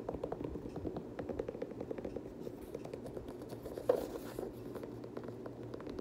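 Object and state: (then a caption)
Leather sneaker scratched and tapped. An empty, hand-held dark teal Air Jordan 6 high-top sneaker with an iridescent leather upper, laces and rubber sole is scratched and tapped with fingernails on the leather upper and sole. Dense, quick, soft scratching and tapping sounds run throughout with a low midrange body, and a sharper, louder tap stands out near the four-second mark.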